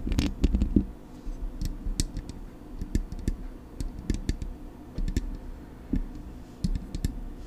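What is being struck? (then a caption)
Metal microphone body. Long acrylic nails tap on the metal body of a silver Blue Yeti microphone, near the front with its knobs. The result is a quick, irregular series of short, dry taps, each a dull low thump with a bright clicky edge that dies away almost at once.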